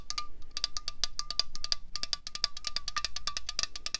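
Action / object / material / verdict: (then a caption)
tap / aluminium drink can / aluminium / none. A slim, hollow 0.33 L Coca-Cola Cherry aluminium can resting on a tablecloth is tapped rapidly with long fingernails and fingertips. The result is a quick, steady stream of short, bright, tinny clicks with a faint metallic ring and almost no sustain.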